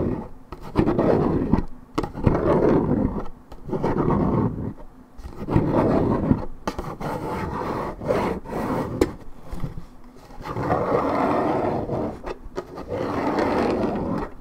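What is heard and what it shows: Long red nails scratch the side panel of a hollow Minute Maid 1.75 L coated paperboard orange juice carton of unknown fill. Rough, rasping scrapes come in uneven bursts with brief pauses between them. The sound is a low, hollow, resonant rumble with little high-end brightness.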